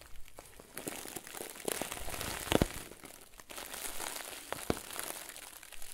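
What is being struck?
Stuffed plastic bag.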